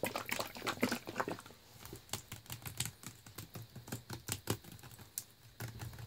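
A clear plastic Naked Green Machine smoothie bottle with a paper label and blue plastic cap, full of thick green juice, is held in hand and tapped with fingernails on the label and body. The taps are quick, dry and irregular, with short bright clicks, a denser cluster at the start and sparser taps after.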